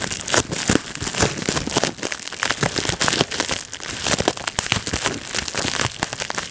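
Thumbs and fingertips squeeze a clear plastic bubble wrap sheet, popping its bubbles. A rapid, dense run of sharp, bright pops and crackles mixes with crinkling plastic throughout, each snap dying away almost instantly.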